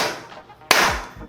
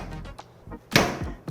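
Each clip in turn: First: hard plastic corner cap on a spirit level, bouncy. Second: spirit level end cap that absorbs a drop.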